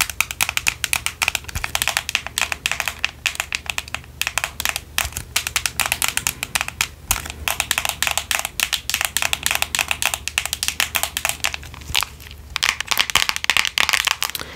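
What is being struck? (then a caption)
Plastic handheld game console shell. Long acrylic nails tap and scratch the back shell of a small, hollow white plastic handheld game console held in both hands. A rapid, steady stream of crisp, bright clicking taps comes with light scratching, and each tap dies away almost instantly.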